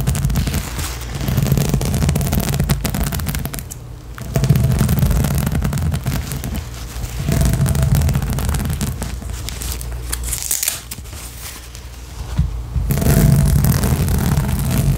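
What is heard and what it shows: Long nails, first of one hand and then both, rapidly scratch the nubs of a large, hollow, blue inflatable rubber/PVC spiky balance cushion. The result is a dense, fast, rough scratching with a deep, hollow, booming low rumble underneath. The sound comes in sustained bursts, with brief quieter dips around 4, 7, and 11–12.5 seconds.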